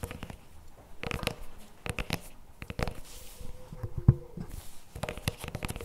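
A CremaNovi paperboard chocolate spread tub with a plastic lid sits on a table and is then lifted while fingertips tap and scratch its lid and sides. The result is quiet, dull, low-heavy taps mixed with brief dry scratching bursts, with one sharper, louder tap near the four-second mark.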